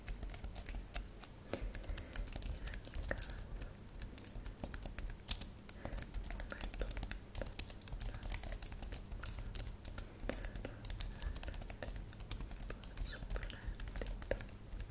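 A thin white and silver computer keyboard with plastic keys, lit purple and solid, is typed on rapidly with long manicured nails and fingertips. Quick, crisp plastic clicks and taps run steadily throughout with very short decay, some sharper nail ticks standing out, over a low steady hum.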